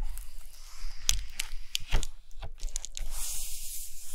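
Long nails scratch and tap on an open hardcover book resting on a carpet, across a spread with a matte text page and a black-and-white photo paper page. Short, dry paper taps and crackly scratches sound over a low, soft rumble, with bright hiss rising toward the end.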